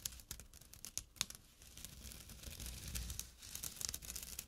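A small, empty jute burlap drawstring pouch resting on dark cloth has its coarse weave scratched with short nails. Quiet, dry, bright scratching fills the clip with rapid crackly strokes and sharp rasps over a faint low rumble, each scrape stopping short with almost no ring.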